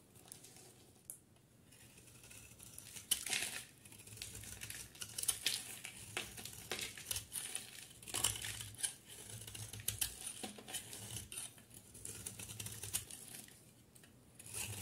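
A solid pink soap bar with an embossed design and a yellow interior is held in one hand and shaved with a utility knife blade into crumbly yellow flakes. Repeated dry, crisp scraping and crinkling strokes sound bright and papery over a quiet low hum, each cut ending quickly with almost no ring.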